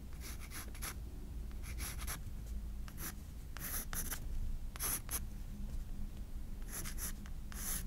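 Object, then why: Graphite pencil on a spiral sketchbook's paper page. A graphite pencil scratches short sketch strokes for the hair and face on a white paper page of a spiral sketchbook. Bursts of dry, bright scratching come in quick clusters over a steady low hum.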